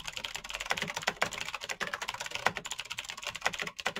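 Slow typing with fingertips on a black Razer BlackWidow mechanical keyboard with plastic keycaps on clicky green switches. A steady run of crisp, bright clicks and clacks, each short and dry with almost no low end or ring.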